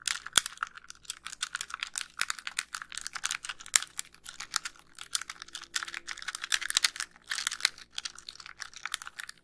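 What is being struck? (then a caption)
Plastic handheld game console. Long nails tap and click rapidly across the front and buttons of a small white hollow plastic handheld game console. The result is a dense stream of crisp, bright, dry clicks with almost no low end. Each tap dies away almost instantly.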